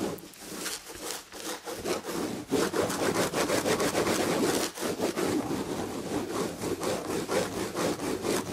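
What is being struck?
Textured tapestry upholstery on a chair back.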